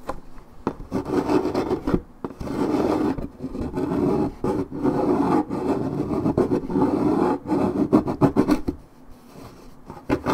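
Long red nails scratch deeply across the top surface of a coated paperboard orange juice carton held in one hand. The result is dense, raspy scraping in sustained bursts separated by brief pauses, with a warm, low-mid papery rasp. It fades to quieter scratching near the end.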